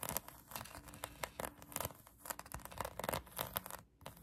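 Long acrylic nails scratch a pink polyurethane foam donut squishy toy, making a quick run of dry, rasping scratches. The strokes come as short, bright bursts with no ring after each one, over a soft steady hiss.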